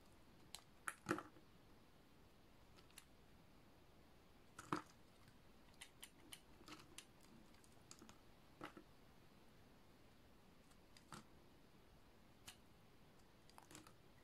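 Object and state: Dry bar soap being shaved.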